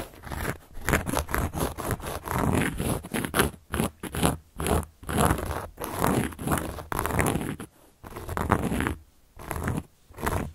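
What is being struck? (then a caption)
Large round cork board scratched with a carving tool. A carving tool scratches across a large round solid cork board in quick, rough strokes. The dry, crackly scraping comes in short bursts separated by brief pauses, with a heavy low rumble under the bright grit.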